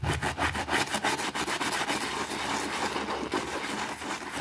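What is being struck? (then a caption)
Small thin fabric rug scrubbed with a plastic brush on concrete. A white plastic brush scrubs a small, thin, foamy green fabric rug on a concrete floor while the other hand pins it down. Fast, repeated back-and-forth strokes make a wet, broadband rasping sound with a midrange hiss, about three strokes per second, in a steady, continuous rhythm.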